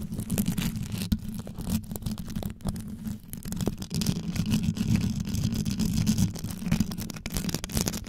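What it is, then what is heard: Rhinestone-covered microphone, scratched and tapped. Long yellow nails scratch and tap fast on the rhinestone-wrapped head of a metal microphone. The result is a dense, low, close-up rumbling scrape with a steady hum around 215 Hz, broken by quick, sharp clicks and brief dips.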